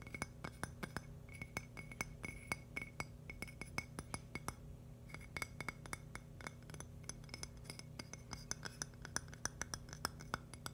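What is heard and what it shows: A thin, polished, palm-sized purple agate slice, solid with a rough crystal edge, is tapped and scratched with fingernails. The result is a fast, irregular stream of sharp, glassy clicks that die away almost instantly, some carrying a brief bright ring near 2 kHz. Quiet scratchy texture fills the gaps over a steady low hum.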